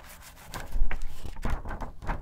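Long acrylic nails scratch and rub fast across the pages of an open glossy paper magazine lying on a table. After a quiet first half second, quick papery swishes and scrapes come in bursts, with a dull, low-heavy body.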